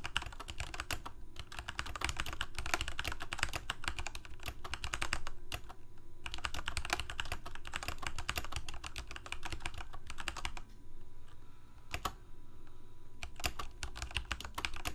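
Both hands type rapidly with their fingertips on a full-size black plastic Corsair K68 mechanical keyboard with Cherry MX Red switches and blue backlit keycaps, resting on a white desk. Dense bursts of short, bright clicking keystrokes come in runs separated by brief pauses. A steady low hum sits underneath throughout.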